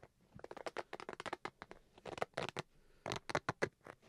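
Fingernails scratch along the face and zipper edge of a black, hollow Switch carrying case with fabric over a hard shell. It makes a quick series of short, dry, papery scratching strokes that come in uneven clusters, each a broadband rasp centered in the low-mids with a bright edge. The strokes stop sharply, with almost no ring between them.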